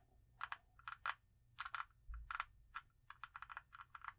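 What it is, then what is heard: Cosmetic jar with metal lid. Long acrylic nails tap and scratch the ornate embossed metal-look lid of a small, hollow, round cosmetic jar held in one hand. The result is a quiet series of short, sharp clicks with a ringing tone around 1.1 kHz and bright upper edges, grouped in uneven bursts with brief scratching between them.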